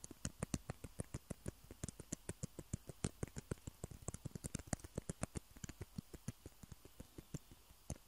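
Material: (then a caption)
Plastic. Fingertips and nails tap and scratch two small hollow white plastic table tennis balls, one held in each hand. A quick, steady run of dozens of short, dry clicks follows, each with a soft low knock and a bright, crisp tick on top, separated by faint scratchy rustling. Every tap dies away almost instantly.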